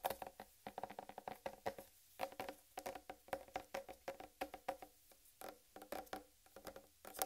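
Long red nails tap and lightly scratch the upper rind of a large, solid whole watermelon. About three dozen quick, dry taps sound in uneven bursts, each with a hollow, woody knock around 770 Hz and a bright click. Every tap dies away almost instantly, with brief pauses between clusters.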